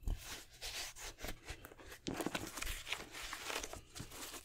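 An empty black Jordan 6 high-top sneaker with a nubuck upper, rubber sole and plastic lace lock is held in the hands while fingertips and nails rub and tap the upper. Dry, close scratching and brushing fill the clip, broken by soft, muffled taps.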